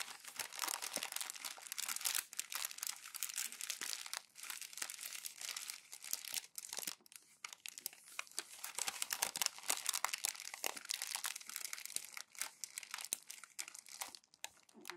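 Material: Glossy paper.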